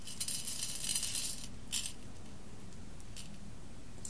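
Fingertips with long red nails dig into a heap of whole roasted coffee beans on an embossed glass plate, raking the pile and letting the beans fall back onto the glass. A dense, bright clattering rattle fills the first second and a half, followed by a short burst of clinks and then fainter scattered ticks over a low, steady background hum.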